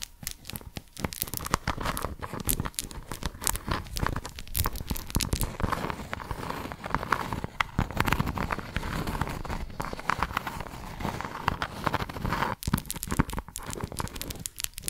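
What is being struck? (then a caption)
Silicone scrubbing pad. Long acrylic nails scratch and tap the textured face of a small pink round silicone scrubbing pad with a scalloped edge, solid and flexible, held in both hands. The result is a dense, steady stream of crackly, crinkling scratches and quick tapping clicks that lasts the whole clip, with a soft low rustle underneath and sharp bright ticks on top.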